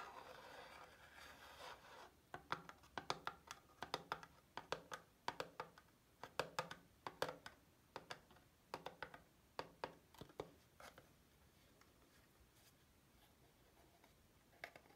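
A small white cardboard Dove soap box, apparently still holding the bar, is held in hand and tapped and scratched with long glittery fingernails. A soft scratching rub opens the clip, followed by a quick run of sharp, dry taps from about 2 to 11 seconds, then near silence with one faint tap at the end.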